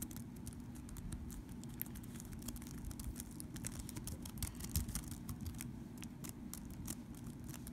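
Fingertips and short nails tap and type rapidly on the keys of a thin, hollow, black plastic compact wireless keyboard lying on a soft blanket. The result is a quick, uneven patter of light, bright clicks over a steady low rumble.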